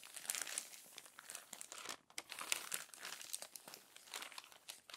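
Fingers with long nails turn the crumpled pages of an open glossy paper magazine and press them flat. The result is a steady stream of quiet, bright crinkling and crackling rustles with sharp little snaps. There is a brief lull near the two-second mark.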